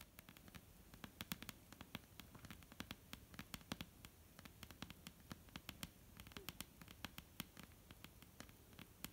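Long almond-shaped painted nails tap and scratch a flat, solid dark-brown wooden tabletop. Quick, irregular clicky taps land with short, bright, dry transients that die away almost instantly, over a soft, continuous scratching rasp. The whole clip stays quiet and steady.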